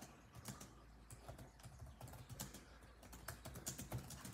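Fingertips of both hands type rapidly on the built-in keyboard of a grey laptop, tapping its dark plastic chiclet keys. Soft, quick clicks and taps come in an uneven run, some louder than others. A steady low hum sits underneath.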